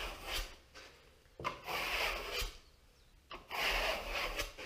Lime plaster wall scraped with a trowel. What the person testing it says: you can hear that crisp sound that's the plastic nice and hard now